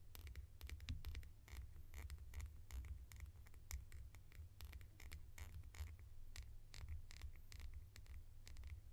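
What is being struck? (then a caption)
Small plastic lid. A small hollow red plastic lid, held in the hands, is tapped and scratched with long nails. Quick, dry clicks and scratchy strokes with bright edges come in a steady, quiet stream over a constant low hum.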